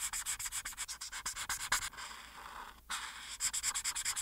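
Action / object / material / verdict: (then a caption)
scrape / marker tip on thin paper sheet over a board / paper / none. A marker tip held in the hand is rubbed in short, quick strokes across a thin printed paper coloring page laid flat on a solid dark board, coloring near the figure's chin. The result is a rapid run of bright, dry, scratchy strokes with almost no low end. Midway it becomes a steadier continuous rub with a brief pause, then returns to quick back-and-forth strokes.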